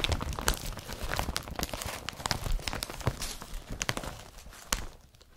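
Fingers grip, crumple and rub an empty IKEA BRATTBY carrier bag made of blue woven polypropylene with a yellow strap. Dense crinkling rustles are broken by sharp, bright crackles and low soft thumps. The handling eases off, and the sound fades quieter at the end.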